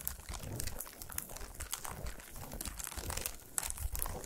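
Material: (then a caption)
Aluminium foil. A solid chocolate bar wrapped in shiny aluminum foil, resting on a towel, is tapped and scratched with a fingernail. Quick, dry taps and bright crinkly scratches run together with a low, muffled rumble underneath, each sound stopping almost at once with no ring.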